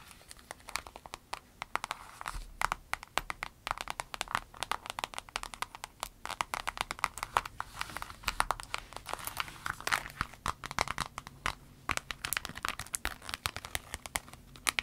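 Long red nails scratch and crinkle a small clear vinyl zip pouch with an avocado print and a green zipper. Dense, rapid, crisp clicks and crackles, bright and thin with almost no low end, patter on steadily throughout.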